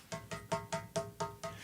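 A finger taps the big glass screen of a widescreen HD Toshiba CRT television seven times. Each tap gives a short, hollow knock with a faint ring near 660 Hz that fades within a fraction of a second.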